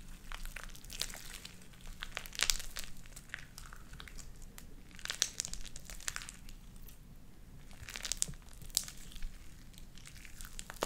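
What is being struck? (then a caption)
Sticky slime with small beads. Light-blue sticky slime with white beads is squeezed between the palms and stretched with spread fingers. Wet, crackling pops and crinkly squelches come in bursts, with bright sharp snaps over a faint low hum.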